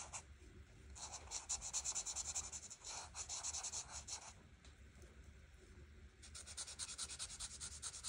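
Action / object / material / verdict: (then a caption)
scrape / marker tip on paper / paper / none. A marker tip scratches and rubs over a flat paper coloring book page while coloring in the leaves. The result is bright, hissy strokes in quick back-and-forth bursts, easing into a quieter stretch midway before the scratching picks up again.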